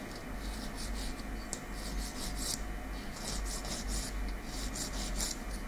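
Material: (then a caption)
Keratin. A long natural fingernail, small and made of solid keratin, is filed with a slim light-coloured nail file held in the other hand. Repeated bright, scratchy rasping strokes sweep back and forth over a steady low hum.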